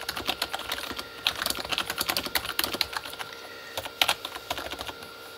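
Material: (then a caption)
Plastic. Both hands type with their fingertips on a Corsair K35 plastic membrane keyboard with red backlit keys. The result is a quick, uneven run of short, bright plastic clicks and taps that die away almost instantly, with a few louder key strikes standing out.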